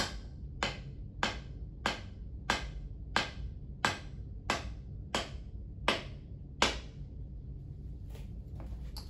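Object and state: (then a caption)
Iron head fully seated on shaft. Eleven sharp taps drive a golf iron head down onto its epoxied shaft with a ferrule fitted, each a bright, short knock over a low background hum. The taps land at a steady pace and the last few sound slightly different as the head becomes fully seated on the shaft.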